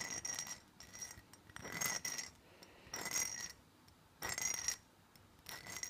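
A closed, small cylindrical black glass perfume bottle is held close up and tapped and scratched with fingernails. Fast, bright bursts of clicking taps and scratchy rasping come in uneven clusters separated by quiet gaps, with a faint high glassy ring.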